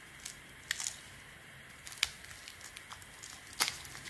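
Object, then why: Bar of soap carved with a small metal knife. A small metal knife blade carves and scrapes a solid beige, palm-sized Weleda bar of soap held in the hand, with shavings falling off. Quiet, bright, crisp scrapes and crackly clicks come at irregular intervals over a soft hiss, each one very short with almost no ring.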